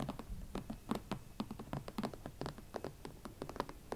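A pair of hot pink smooth leather Valentino Club platform ankle boots standing on a surface is tapped and scratched with long nails on the uppers and platforms. A quick, irregular series of short, dry taps and scratches follows, each dying away almost at once.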